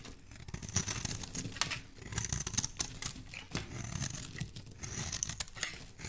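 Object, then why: Bar of soap cut with a metal blade. A solid cream-white embossed bar soap with a pink core, held in the hand, is sliced and scraped with a metal utility blade. Repeated crisp, crinkly scraping strokes and short cutting bursts carry bright, high hiss over a soft low rumble. Each stroke stops almost instantly, with no ring.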